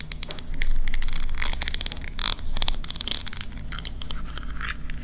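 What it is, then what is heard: Metal scallop-shell compact mirror. Long pink-painted nails tap and scratch along the ridged lid of a small, palm-sized silver metal scallop-shell compact mirror, a hollow closed case. Quick, irregular bright clicks and scratchy crackles come in loose bursts over a steady low rumble, swelling loudest in the first second.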